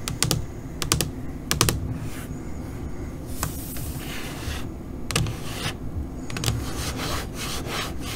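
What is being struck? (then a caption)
LCD computer monitor screen. Long pointed nails of both hands tap on a flat black LCD computer monitor screen, making quick clusters of sharp, bright clicks. Between the bursts come softer, hissy, scratching passages over a steady low rumble. The tapping is irregular, with short, dry decays.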